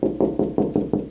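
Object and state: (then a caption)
Hollow drywall, no stud behind. Knocking on a drywall wall at a spot with no stud behind it, while checking for studs to install closet shelves. Seven quick, evenly spaced knocks each give a hollow, low-mid thud centered around 300 Hz that dies away fast, marking the spot as hollow with no stud.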